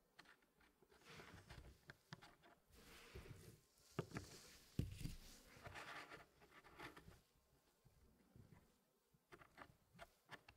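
Fingertips slide and tap solid wooden pieces inside a small square Elegance wooden puzzle with a light wood base. Soft, low wood-on-wood rubbing and scraping mixes with scattered short, dry clicks, including a couple of sharper knocks near the middle. Quieter, brighter taps follow near the end.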